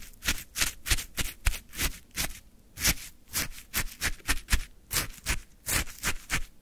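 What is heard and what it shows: A wooden stick scrapes and lifts the icy crystals of orange frozen shaved ice in a full plastic cup, close up. About 19 short, bright, crunchy scraping bursts come in a quick, uneven rhythm, with brief quiet gaps between them.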